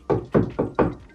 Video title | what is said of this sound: Ne pas percer dans un cable ou un tuyau | Ça se reconnaît souvent parce que ça sonne creux.